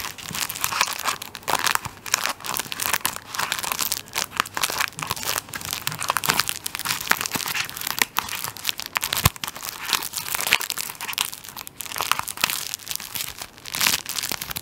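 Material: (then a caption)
Plastic film. Fingertips and nails scratch and tap the crinkly thin clear plastic film sealing a large Virjoy paper tissue roll, held solid in one hand, over its flat top end. A dense, continuous run of bright crinkling and crackling comes through with quick, sharp taps mixed in and almost no low end. Each tap dies away instantly, with no ring.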